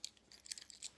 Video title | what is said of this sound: 5 common mistakes to avoid when using an airless sprayer | We can all hear that's loose